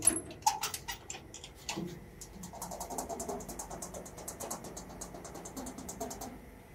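Fingertips and knuckles tap and knock on the flat, hollow panel of a large brown-painted sheet-steel door fitted with lock and latch hardware, while a metal wristwatch is worn on the tapping hand. A few louder knocks at the start give way to a quick, steady run of light taps with short, bright metallic clicks and a faint hollow resonance that dies away almost instantly.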